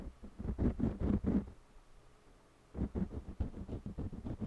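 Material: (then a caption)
Cotton canvas. A purple jumbo wax crayon colors along the right edge of a small stretched cotton canvas panel with a scratching rub. Quick, dull, low rubbing strokes come in two bursts separated by about a second of near silence, with no ring after each stroke.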